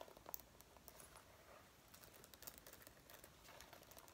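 Fingertips and long nails rub and grip the collar, front and lapels of a worn dark brown faux leather jacket near its metal zipper, which may add a zipper rattle. Quiet, continuous crinkling and scratchy rubbing is heard, dotted with brief bright ticks and soft patter-like clicks that fade almost instantly.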